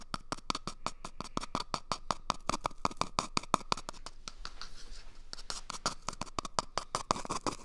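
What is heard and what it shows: Fingernails scratch and pick at the end and surface of an empty, hollow cardboard toilet paper tube held close to the mic. A rapid, uneven run of sharp, dry clicks rings with a hollow tone around 1 kHz. Midway the clicks briefly give way to a soft, bright scraping hiss before the quick picking resumes.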